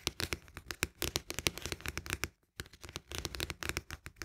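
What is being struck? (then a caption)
Cardboard canister with plastic lid. Fingertips and nails tap rapidly on the side of a cylindrical cardboard canister of barley drink, near its green plastic lid. The result is a dense run of short, dry, crisp taps with almost no ring. There is a brief pause just before the tapping resumes.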